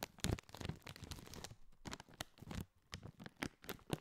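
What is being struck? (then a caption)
Foil-lined plastic chip bag. A partly filled Doritos foil-lined, metallized plastic chip bag is squeezed, crinkled and scratched with fingertips close to the mic. Sharp, bright crackles and rustling bursts come in quick irregular clusters over a soft low rumble, each snap dying away almost instantly.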